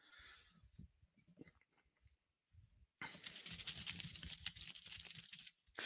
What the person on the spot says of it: you can hear me tapping on my tin foil